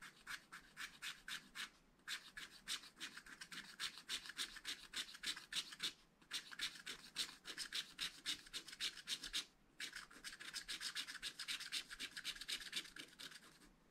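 A wooden stylus rubs repeatedly over a black coated scratch-art paper page in a spiral pad to fill in an area. It makes rapid, bright, raspy scratching strokes, about three to four per second, with brief pauses near 2, 6 and 9.5 seconds.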